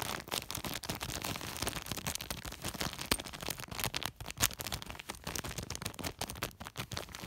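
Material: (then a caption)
Polypropylene. Fingertips scratch, rub and pinch the surface of a large white woven polypropylene sack. The result is a dense, fast run of dry, crackly scratching and rustling with bright, crisp texture and short sharp peaks.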